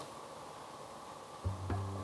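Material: Nothing is struck.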